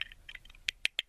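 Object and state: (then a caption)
Hollow wooden toy tender. A 2001 Thomas Wooden Railway Donald wooden engine tender is shaken, giving a quick series of light, bright, dry clicks and rattles with almost no low end, the last few clicks sharper and louder. The tender sounds and feels hollow, as if nothing is inside, unlike the engine itself, which is a solid piece of wood.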